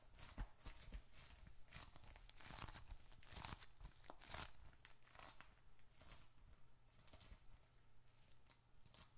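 A small dark red leather bifold wallet is held in one hand, squeezed and then tapped with the fingertips. Irregular bursts of bright, crinkly, tearing-like leather creaks and soft, dull taps come and go over a steady low hum.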